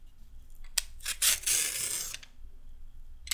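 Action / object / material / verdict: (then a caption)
scrape / raw carrot scraped with a metal peeler / carrot / none. A red metal peeler scrapes a small piece of raw carrot. A few sharp, bright clicks lead into a longer crisp, hissing scrape that fades out, followed by a quiet pause and one last bright tick.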